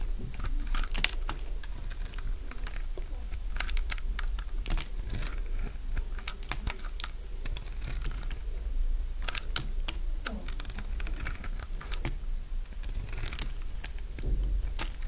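A solid, dry, beige soap block, held upright, is shaved into long strips with a metal utility blade. Sharp, brittle crunching scrapes and crackles repeat steadily over a low, constant hum. Each bright, dry crackle stops almost at once.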